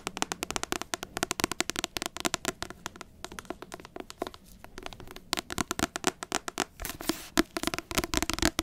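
Long acrylic nails tap rapidly on the glossy card front cover of a large paperback book. The result is a dense stream of sharp, dry clicks with bright high edges and almost no ring, coming in quick bursts with brief gaps.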